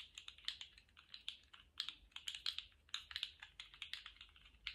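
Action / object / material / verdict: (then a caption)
shake / jointed plastic slug toy / plastic / none. A colourful jointed plastic slug fidget toy is held at both ends in gloved hands and bent and wiggled so its hollow segments click together. The result is a quick, irregular stream of dry, bright plastic clicks centred around 3.3 kHz, each dying away almost instantly, with almost no low end.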